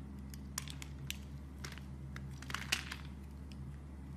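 A knife blade shaves slices from and scrapes the smooth surface of a solid dark brown soap bar held with long dark nails. Short, crisp crackling and crunching scrapes come in quick bursts with bright edges, over a steady low hum.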